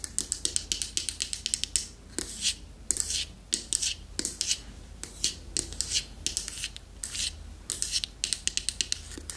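Long manicured fingernails tap and scratch the flat lid and sides of a small, closed, dark striped hardwood box held up in the air. Quick, bright, dry taps come in clustered bursts, alternating with longer scratchy, rasping strokes, over a faint low hum.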